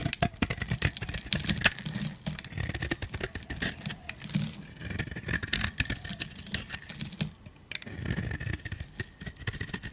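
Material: Soap.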